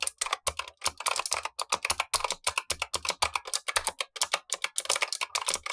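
Steady typing with blue-gloved fingertips on the black plastic keycaps of a Razer Huntsman V2 mechanical keyboard with clicky switches, the lower of two keyboards, while the upper keyboard sits untouched. A rapid, uneven run of sharp, bright clicks with almost no low end, each snapping off quickly without ringing.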